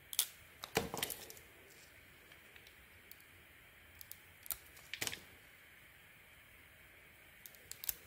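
A handheld solid soap bar with an orange spotted outer layer and a cream interior is carved and shaved with a utility knife blade. Soft, bright scraping and crisp shaving cuts come in short irregular bursts over a quiet background. The strokes are dry and clicky with almost no low end and a very brief decay.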